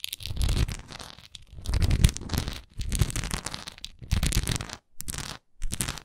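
Long nails scratch and tap the sides of a solid wax pillar candle with a swirl-patterned surface while the hands hold it. The result is bursts of dry, rasping scratches with a heavy low rumble and a thin bright edge, separated by brief silences.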